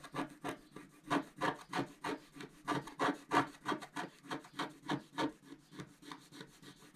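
A wooden stylus tip scrapes across a flat, black-coated scratch-art card in a steady series of about 21 short, dry scratching strokes. Each stroke is a brief, bright, rasping rub with a low-mid tone and almost no ring.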